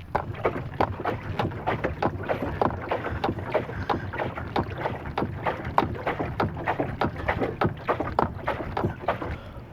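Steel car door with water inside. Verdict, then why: Wet. Water trapped inside a steel car door after rain or a wash sloshes back and forth as the door is moved, giving a steady series of soft, quick splashing surges. The door's drain holes are blocked, which confirms water was trapped inside.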